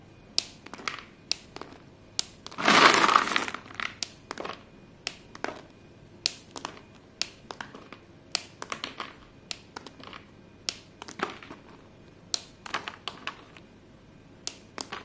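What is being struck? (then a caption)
Pile of chalk pieces. Bare fingers dig into and rub through a pile of short, solid white chalk pieces, making dozens of sharp, bright clicks and crunches as the pieces knock and crush against each other. Near the three-second mark there is a longer, dense burst of grinding crunch, and short, irregular clicks continue throughout.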